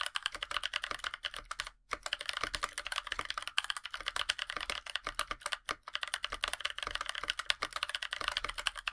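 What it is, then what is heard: Aluminum mechanical keyboard with PBT keycaps. Two hands type continuously with their fingertips on a NovelKeys NK65, a 65% mechanical keyboard with a black aluminum case, NovelKeys Blueberries switches and white PBT plastic keycaps. The result is a fast, steady stream of short, bright, clacky keystrokes with almost no low end. The typing breaks off briefly twice.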